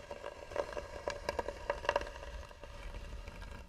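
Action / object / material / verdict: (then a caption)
scrape / carved wooden box / wood / none. Long nails scratch slowly and firmly across the lid of a hollow, tan carved wooden box. Quiet, dry scrapes and short ticks carry a woody hollow tone near 590 Hz, with a faint low hum underneath and almost no ring after each stroke.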